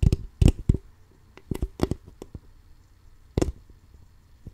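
An empty, crumpled, clear plastic water bottle of about 0.5 L with a label is held sideways in both hands while fingertips and nails tap and scratch its ridged, hollow sides. Irregular bursts of short, dull, low-pitched clicks and crackles die away almost at once, with quiet gaps between them.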